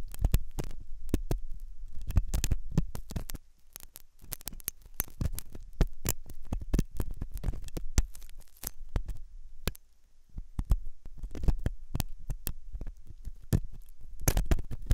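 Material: Silicone.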